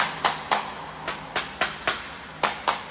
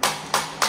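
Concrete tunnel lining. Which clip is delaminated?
The first.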